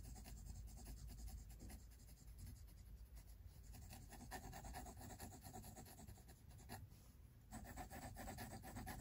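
A pink mechanical pencil scratches repeated shading strokes across the white paper of a spiral-bound sketchbook resting on a wooden table. The result is a quiet, steady, dry rasping rub with fast back-and-forth strokes, dipping briefly near the end before the scratching picks up again.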